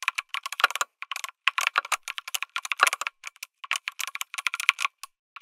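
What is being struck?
Mechanical keyboard, aluminum case with plastic keycaps.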